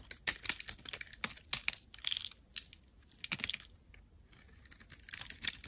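A solid pale yellow speckled bar of soap, held in the hand, is shaved into curls with a utility-knife blade. Crisp, bright scraping and snapping strokes come in quick bursts, with softer rasping passes between them and a brief lull near the end before the cutting resumes.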